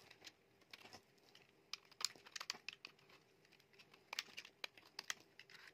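A metal utility knife blade carves shavings off a small piece of solid, dry yellow bar soap with a pale core. Quiet, crisp scraping and crackling strokes come in irregular clusters, bright and dry with no ring.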